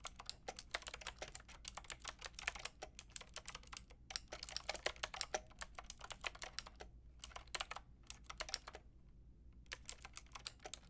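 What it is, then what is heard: Plastic mechanical keyboard with round keycaps. A white and pink Lofree mechanical keyboard with round plastic keycaps is typed on with long painted nails and fingertips. Quick, bright plastic clicks and taps come in uneven bursts, with brief pauses near 4 and 7 seconds and a longer gap just before 10 seconds. A faint low hum sits steadily underneath.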